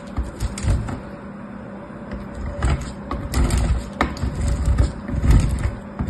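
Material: Soap.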